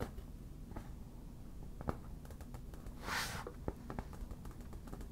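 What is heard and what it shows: Long black nail tips tap and scratch the surface of a hollow, inflated yellow vinyl beach ball. Soft, dull taps and light clicks sound over a low, muffled bed, with a brief bright scratching hiss in the middle. The whole clip stays quiet and close.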